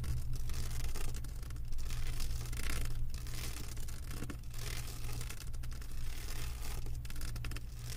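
Long white acrylic nails scratch and tap across the bumpy plastic resin drills of a flat diamond painting canvas lying on a table. The result is a steady, busy rasp of fine scratching over a constant low hum, with small swells in loudness as the nails sweep back and forth.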